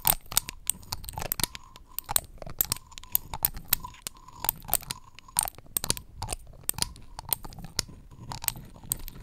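Long acrylic nails pinch and flick the paper dropper cap of a flat orange paper or card cutout shaped like a dropper bottle. The result is a quick, irregular run of sharp, dry clicks and crisp papery taps with a bright edge and almost no ring, over a faint midrange hum that comes and goes between bursts.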